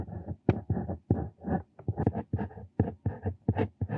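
A metal square-tipped Brause Bandzug dip pen nib, held in the hand, writes Korean calligraphy in ink on a flat, thin lined paper notebook page. The nib makes a quick series of short, close scratching strokes, each a soft rasping burst with a dull, low-heavy body. The strokes are separated by brief silent gaps.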